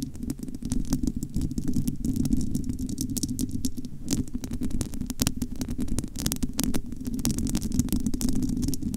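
Long almond-shaped nails scratch and cup the bare, hollow, domed metal wire-mesh grille of a large studio microphone. The result is a continuous, dense crackle of rapid scratchy ticks over a muffled, rumbling low hum. The level stays steady for the whole stretch.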